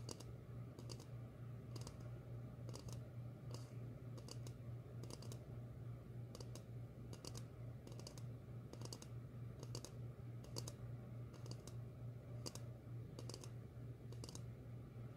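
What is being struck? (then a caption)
Ceramic bowl. Long fingernails tap on a medium glossy red ceramic bowl, hollow and empty, held upside down. A steady stream of quick, light, bright clicks comes at a brisk, loosely even pace. Each click decays quickly over a constant low hum.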